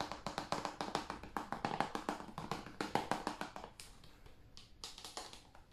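A hand-sized, hollow blue plastic PS5 game case is held in the hands and tapped with the fingertips and nails on the cover and along the spine. About thirty quick, irregular taps sound dry and hollow, each with a brief plasticky knock and a bright nail click that dies away almost at once. The tapping grows softer and sparser toward the end.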